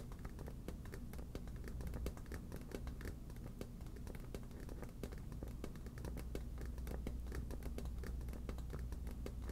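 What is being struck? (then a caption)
Inflatable vinyl ball. A medium yellow smiley-face inflatable vinyl beach ball, hollow and fully inflated, is held in one hand and tapped and scratched with long black natural nails. The sound is a quiet, steady stream of rapid soft taps and scratches, each giving a short, low, hollow thud that dies away quickly.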